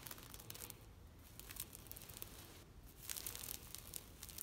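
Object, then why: Knitted plastic shade netting. A large, thin green knitted plastic shade net stretched on a fence is scratched with long nails. The result is a quiet run of dry, bright rasping and crinkling strokes with high crackle and a low rumble underneath. The scratching swells louder in the last second and a half.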